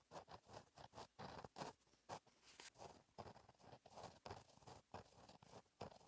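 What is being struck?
Gel pen with metal tip on a lined paper notebook page.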